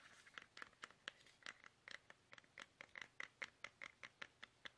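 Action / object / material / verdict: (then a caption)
tap / soft plastic toothpaste tube / plastic / none. Fingertips tap fast on a small, soft, hollow plastic toothpaste tube held upright in both hands. About 22 short, dry, bright taps land in an uneven rhythm, each centered near 2 kHz and dying away almost instantly. A faint hiss sits between them.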